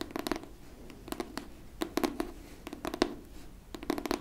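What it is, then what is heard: Hardcover book. Long nails scratch and tap the cardboard-and-paper cover of a pink hardcover book held flat. Quick dry clicks and scratchy bursts come in small clusters, each with a faint hollow tone around 340 Hz and almost no ring, over a quiet background.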